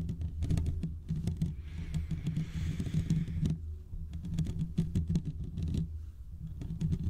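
Fingertips and short nails of both hands scratch the hollow domed steel mesh grille of a large desktop condenser microphone. The result is a dense, continuous patter of muffled low thumps and rubbing with a deep boomy body. Around the middle, a brief brighter, hissy brushing rises over the scratching.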